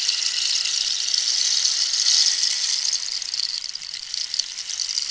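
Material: Cactus wood.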